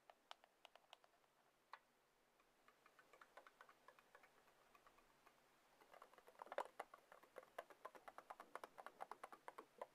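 A black glass and aluminium iPhone is held flat in one palm while its screen and edge are tapped quickly with long acrylic nails. The result is rapid, dry ticking taps, with short, sharp clicks that die away almost instantly and center around a low-mid tone near 570 Hz. The taps start sparse, settle into a soft steady patter, then grow louder and denser in the second half.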